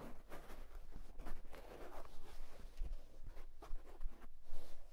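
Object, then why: Wool tweed fedora hat. Fingertips rapidly scratch and tap the crown of a hollow houndstooth wool tweed fedora hat. The result is a steady, soft, dull fabric scratching with brief muted taps and a low thump underneath.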